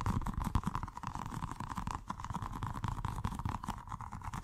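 A small, colorful, soft rubber stress ball filled with gel water beads is held in the hands and rapidly tapped and squeezed with the fingertips. The result is a fast, continuous stream of dull, squishy, low thuds with a faint steady midrange tone underneath.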